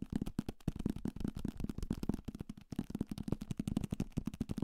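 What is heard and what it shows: A thick paperback copy of *Salem's Lot*, a solid paper block with a card cover, is held in the hand and tapped aggressively with fingertips and nails on its cover, spine and page edges. A fast, uneven stream of short, dull, papery thuds centred low, around 200 Hz, is mixed with crisp, brief nail clicks that die away almost instantly.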